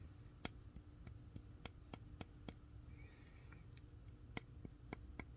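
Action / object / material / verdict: tap / titanium folding knife handle / titanium / solid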